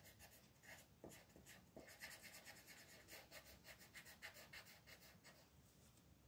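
A green colored pencil is rubbed back and forth across a flat paper mandala coloring page lying on a table while fingertips hold the page still. The result is a steady, quiet scratchy shading sound, bright and papery, with rapid uneven strokes.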